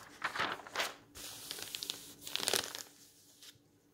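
Bare hands wearing rings turn, lift and smooth the thin pages of a large bound volume of old yellowed paper magazines lying open on a table. Bright, crisp paper rustling and crinkling comes in several bursts, with a steadier soft swish in between, before fading to a quiet close.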